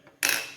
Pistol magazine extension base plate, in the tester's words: you'll feel it and you'll hear it click whenever you tap it and it's locked in